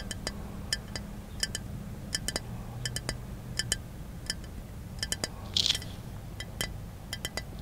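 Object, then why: Glass object. A glass object is tapped repeatedly in an irregular series of light, quick taps, done on request. Each tap gives a bright, short clink with high ringing overtones that fade almost at once, over a faint low hum. Near the end a brief, harsher cluster of clinks stands out.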